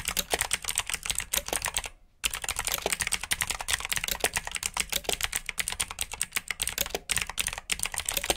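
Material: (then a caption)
Plastic. Fingertips with short nails type quickly on a full-size black plastic mechanical keyboard with RGB backlit keycaps, clicky blue switches and hollow key housings. A dense run of sharp, bright clicks with little low end continues throughout, broken by one brief pause near the two-second mark.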